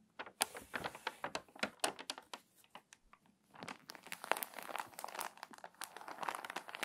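An open, water-damaged glossy paper magazine lies on a table as a page is turned, then long nails press the crinkly pages flat, rub them and crease them. Sharp, bright crinkles and crackles snap out in quick bursts, pause briefly, then return as denser, continuous rustling and scraping. The sound is dry and close, with almost no low end.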